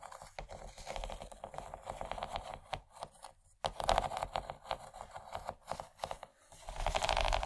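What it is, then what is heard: Plastic tray scratched with nails. Long nails scratch along the raised texture of a large, empty yellow textured plastic tray. A rapid series of rough, crackly scrapes is heard, with a brief pause midway before the bright scratching resumes more strongly.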